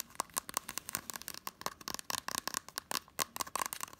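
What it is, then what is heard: Blu-ray case with cardboard slipcover. Fingernails rapidly scratch and tap the spine edge and front of a small, hollow green and blue Totoro Blu-ray case with a cardboard slipcover. About twenty quick, dry clicks and scrapes are heard, each with a bright, crisp attack, a faint hollow ring near 1 kHz and almost no low end.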